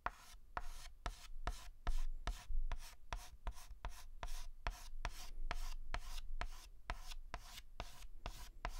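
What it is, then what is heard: Chalk strokes on a blackboard. A white chalk stick makes rapid, short hatching strokes across a large, flat blackboard. Each stroke begins with a sharp tap followed by a dry, scratchy rub. The strokes repeat at an uneven pace, with a brief hiss of chalk between them.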